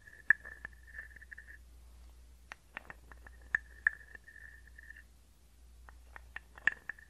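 A small, hollow, carved wooden frog guiro, held near the microphone, is scraped with a wooden stick. It gives a soft, croaking rasp with a steady mid-pitched ring around 1.7 kHz, broken up by sharp, bright clicks. A low hum runs underneath.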